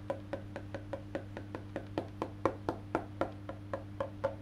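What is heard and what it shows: Fingertips tap the black-painted solid wood back of a face-down electric bass guitar and then its maple neck, making 19 short, dry wooden knocks. The knocks ring around 540 Hz and die away almost instantly, with a steady low hum underneath throughout.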